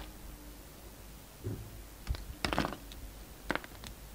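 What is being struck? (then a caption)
Soap bar cut with a blade. A utility knife blade slices thin pieces from a solid black-and-white striped bar of soap held in the hand. Soft, crisp scraping cuts and small clicks come in short bursts over a quiet low hum, with the fullest, brightest shaving sound in the middle of the clip.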